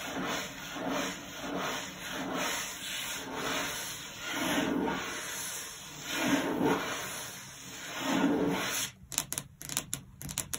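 Long blue acrylic nails on both hands scratch and rub across a flat, solid wood-grain desk top, possibly laminate. Slow, swelling rubbing and scratching strokes with a hissy high end continue for about nine seconds, then give way to short, quick scratches and taps.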